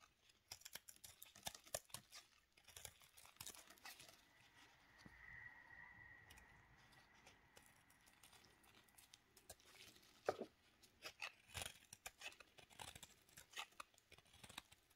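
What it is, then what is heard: Soap cube being shaved. A small solid pink recycled soap cube held in a black-gloved hand has its surface shaved and scraped with a steel kitchen knife blade, peeling off flakes. Quiet, bright scratching and crisp crackling clicks come in rapid irregular bursts. A faint steady tone hangs in the middle stretch.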